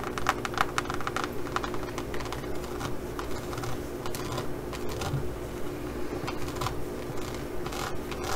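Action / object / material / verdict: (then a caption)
scrape / faux leather pouch with raised studs / faux leather / none. Long nails rapidly scratch the textured surface of a green faux leather pouch embossed with pyramid studs. The result is a steady stream of quick, dry clicking and rasping scratches with brief bright transients over a constant low hum.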